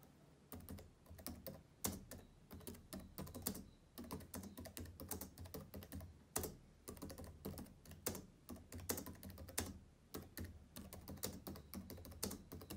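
Fingertips type rapidly on the plastic keys of a black laptop with a hollow chassis. A dense, uneven run of quick clicky taps sounds throughout, each with a soft, hollow low thud beneath a bright click that dies away almost at once.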